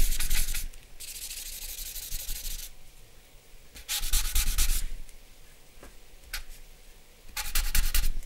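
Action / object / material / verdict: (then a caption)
scrape / sheet of drawing paper with charcoal / paper / none. Fingers and a charcoal pencil rub across a flat sheet of drawing paper bearing a charcoal portrait. Bursts of dry, scratchy, bright rubbing alternate with quieter stretches of soft shading, with a brief sharp stroke in between, over a faint low rumble.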